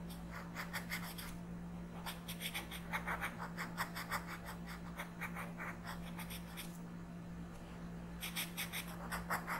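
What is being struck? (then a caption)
Colored pencil rubbed on a paper coloring page. A yellow colored pencil is rubbed in quick strokes across a flat paper coloring book page. The result is rhythmic bursts of dry, bright scratching with short pauses between them, over a steady low hum.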